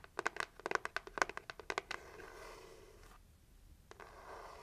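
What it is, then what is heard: Cardboard gift box tapped with nails. Long nails tap quickly on a red heart-shaped cardboard gift box as it is turned between its printed lid and plain red side, giving about sixteen sharp, dry, papery clicks in the first two seconds. The tapping then gives way to a soft, continuous scratching rustle, broken by a brief quiet pause and one more tap before the scratching resumes.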